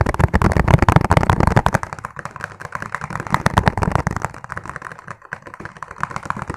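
Fingertips tap rapidly on a clear, ribbed, hollow and empty plastic food container, making a fast, uneven patter of short, dry clicks. The taps are fullest and loudest in the first two seconds, then continue more softly.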